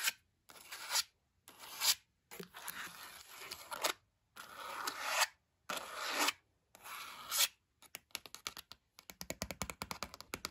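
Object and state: Cloth-bound hardcover book spines scratched and tapped.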